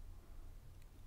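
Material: Nothing is struck.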